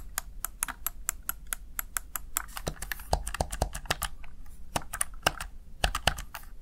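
Fingertips and long nails tap the keys of a small, hollow, backlit plastic Razer Tartarus Chroma gaming keypad, producing quick, bright clicky typing taps. The rhythm is steady at first, then the taps become irregular and separate into sharper, isolated clacks over a low background hum.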